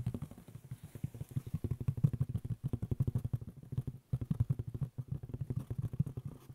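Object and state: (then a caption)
Woven straw hat. Fingertips scratch and rub a hollow, light-colored woven straw fedora with a black band, held close to the ear. A rapid run of dry, scratchy taps sounds deep and hollow, with almost all the energy low around 145 Hz. Each scratch dies away instantly, and the run pauses briefly near 2.6, 4 and 4.9 seconds.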